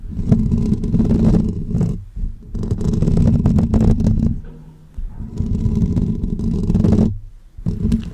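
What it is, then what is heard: Metal mesh microphone grille. Short natural fingernails and fingertips scratch and rub the hollow woven metal mesh grille on top of a pink condenser microphone. The result is a dense, low, rumbling scrape with a steady hum-like tone near 220 Hz. It comes in three long bursts separated by brief quiet gaps.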